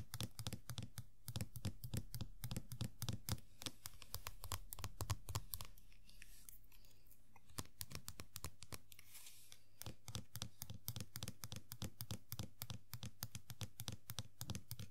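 Long nails tap quickly on the top of the head of a small, hollow vinyl Funko Pop Sailor Jupiter figure. The result is a fast, uneven stream of short, dry clicks with a bright edge over a steady low hum. The tapping thins out for a few seconds in the middle before resuming.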